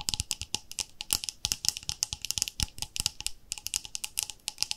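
Long nails tap rapidly on the lid and sides of a round, palm-sized white plastic body-cream jar with a pink label and screw lid, likely full. About 32 quick, dry clicks sound in an irregular flurry. They are bright and high with little low end, and each dies away almost instantly.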